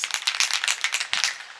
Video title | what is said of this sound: Laser Engraving Stainless Steel Tumblers Using Laser Marking Spray - Laser Tutorial | shake until you hear that ball rattling